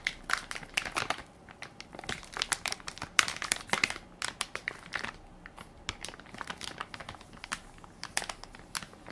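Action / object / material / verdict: scrape / plastic film wipes pack / plastic film / none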